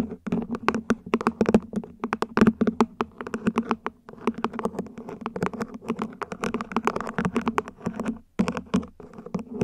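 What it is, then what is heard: Plant pot. A plant pot is gently tapped with the fingertips in quick, uneven runs of soft, dull taps. Each tap dies away almost at once over a steady low tone near 215 Hz, with brief pauses around 4 and 8 seconds.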